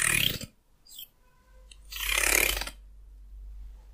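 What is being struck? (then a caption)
Wooden hair comb. Fingernails flick and scratch across the teeth of a solid, hand-sized wooden hair comb. A bright, airy scratching burst is followed by a brief flick and faint ringing tones, then a longer raspy scratch that fades into near silence.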